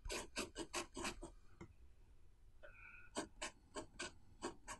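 A blue pen nib scratches across the page of an open paper notebook on a wooden table, writing characters while the other hand rests flat on the left page. Short, bright, raspy strokes come in quick bursts, then a quiet pause with a faint squeaky tone. Another run of scratchy strokes follows.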